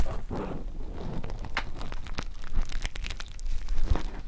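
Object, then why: Polyester 3D spacer mesh fabric. Springy black polyester air mesh fabric, a 3D spacer mesh, is pressed and rubbed by two pencil microphones. It gives a scratchy, crunching rustle, with a heavy low rumble and sharp, bright crackles scattered through it.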